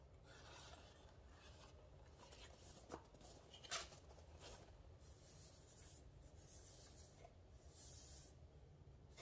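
A small printed paperboard rosemary essential oil box is first held, then laid on the counter and rubbed and scratched with fingertips and nails. The result is a quiet, steady rasping scrape with bright, airy texture over a low background rumble. Two brief, sharper ticks stand out near the middle.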